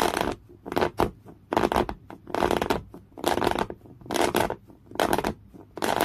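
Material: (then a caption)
Cotton canvas. Folded thick beige coarse woven cotton canvas cloth is scratched hard and fast with the natural nails of one hand. Repeated bursts of dry, rough, broadband scratching come at an uneven rhythm, each ending quickly with almost no ring, with quieter rustling between them.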